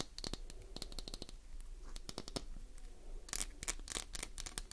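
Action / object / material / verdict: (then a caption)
scrape / glycerin soap bar / glycerin soap / none. A translucent green Duru glycerin soap bar, palm-sized and solid, is held in one hand and scratched with long acrylic nails. A quick series of sharp, bright scratching clicks comes through, with short rapid bursts and brief dry pauses, each sound dying away almost instantly.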